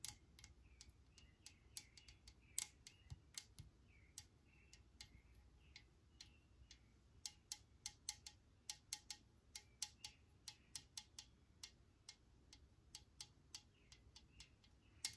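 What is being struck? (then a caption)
Metal aerosol can. A pressurized metal Lysol disinfectant aerosol can, held in one hand, is tapped on its body with long nails, giving about 44 quiet, sharp, bright clicks with almost no ring. A faint metallic resonance sits around 2.5 kHz, and a soft low rumble runs underneath.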